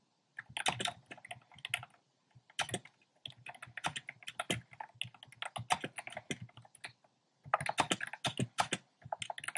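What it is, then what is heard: Plastic mechanical keyboard. Fingertips type on a compact plastic mechanical keyboard with a black plastic case and round pastel plastic keycaps. Quick bursts of bright, clacky keystrokes come in uneven runs separated by brief pauses. Each click is sharp and dies away almost at once.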